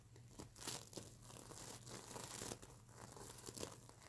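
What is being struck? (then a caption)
Plastic sequin fabric pillow. Fingernails scratch across a plastic sequin fabric mermaid unicorn pillow, flipping the sequins. The result is a steady, bright, crinkly scratching with sharper clicks and brief louder flicks, over a faint low hum.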